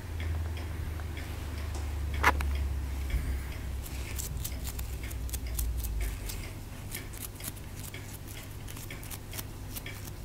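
A pointed wooden stick scrapes and picks at a solid plaster block held up close, working around a partly exposed toy bone. Dry, bright scratches and small ticks come in an uneven, quick rhythm over a steady low hum, with a slightly sharper scrape near the start.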